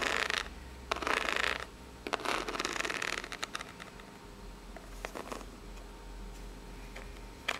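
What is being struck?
Corrugated cardboard box.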